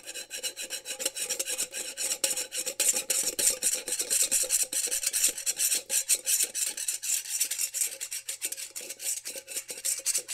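A small glass mason jar with a metal screw lid, held in one hand and apparently empty, is scratched and rubbed by fingertips and nails along its ridged metal lid band in a fast rasping motion. The result is a continuous, dense stream of bright, scratchy rasps with rapid short strokes and almost no low end.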